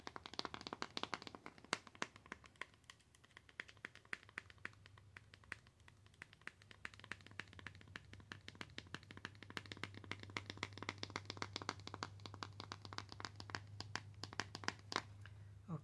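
Long acrylic nails tap and scratch a small white cardboard box with a barcode label. Rapid, sharp, bright taps with very short ring come in a dense stream, mixed with soft scratching. A steady low hum sits underneath and grows slightly louder toward the end.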